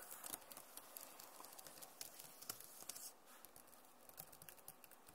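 Fingernails tap on the plastic keys of a backlit Acer laptop keyboard, then both hands type on it. The result is a quiet, steady patter of short, bright clicks with a soft, slightly scratchy texture that thins out after about three seconds.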